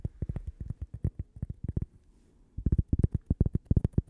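A thin, solid cork coaster bearing a logo is held close to a microphone and tapped and scratched with long nails. Twenty-three quick, dry, low thuds come in two rapid bursts separated by a brief pause, each fading almost instantly with a faint high tick on top.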